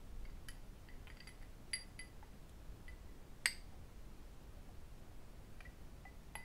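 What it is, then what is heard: Cut glass tumbler tapped. A small, empty cut crystal whisky tumbler held in the hands is tapped with fingertips and metal rings. Soft, scattered clinks ring bright around 1.9 kHz with very short decay, and two sharper glassy taps stand out. A low, quiet background rumble runs throughout.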